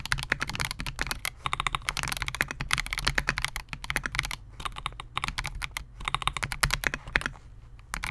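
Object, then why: Mechanical keyboard with polycarbonate case and plastic keycaps. A Melgeek MOJO68 compact 68-key mechanical keyboard with Gateron G Pro Silver switches, a clear polycarbonate case and SA-profile plastic keycaps, resting on a desk mat, is typed on continuously with the fingertips of both hands. Rapid, bright plastic clacks come in quick bursts, with short pauses around 4.5 and 6 seconds, over a faint steady low hum.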